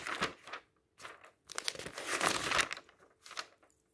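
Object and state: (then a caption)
Glossy magazine pages being turned. Fingertips repeatedly flip the thin pages of an open glossy paper magazine lying on a table. Each turn makes a bright rustling and crinkling sound with almost no low end, coming in uneven bursts separated by brief silences. The longest, loudest flurry of crinkling falls in the middle of the clip.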